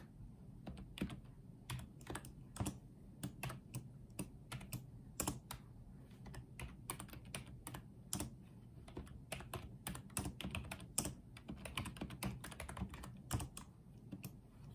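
Fingertips type on and tap the low-profile keys of a small pink and white plastic Apeach wireless keyboard resting on a dark table. The result is a quiet, steady run of soft, short clicks with a low, thumpy body and a faint bright tick on the sharper strokes.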